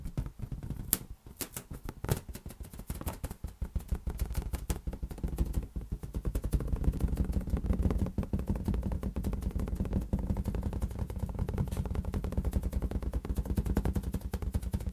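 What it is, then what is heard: Inflated latex balloon. A large, hollow, air-filled green latex balloon is tapped rapidly with fingertips, producing a dense, continuous patter of soft, low, drum-like thumps. Each tap dies away almost instantly, with a muffled hollow tone around 200 Hz. The tapping grows steadier and fuller after the first few seconds.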